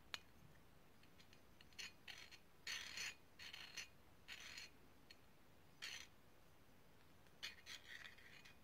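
A small hollow brass herb grinder, its sections partly pulled apart, is twisted and scraped by hand. A sharp metallic click opens the clip, then comes a series of short, bright, gritty scraping bursts separated by quiet pauses. The sound is mostly high, with a light ringing tone.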